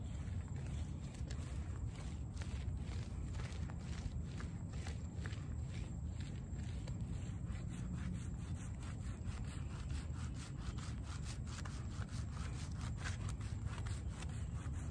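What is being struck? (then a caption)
Shaggy fabric rug, wet and soapy. A small, soapy, wet, plush shaggy fabric doormat with colored "HELLO" lettering lies on asphalt. Bare hands and fingertips rub and scrub its pile back and forth, making a steady, low, muffled swishing with faint bright wet crackles over a continuous background rumble.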